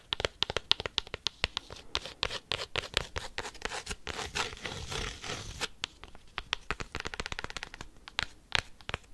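A cork coaster is tapped and scratched quickly with paperclips, producing rapid, sharp, bright clicks with almost no ring. In the middle of the clip the taps blur into a denser stretch of rough, hissing scratching before the quick tapping resumes.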